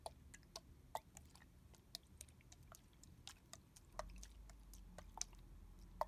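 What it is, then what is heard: Liquid-filled plastic bottle. Fingers tap on the back of a red translucent plastic body mist bottle with a barcode sticker, held sideways and filled with liquid. Short, dry clicks and taps come at an uneven pace over a low background rumble, with a few sharper, brighter taps standing out.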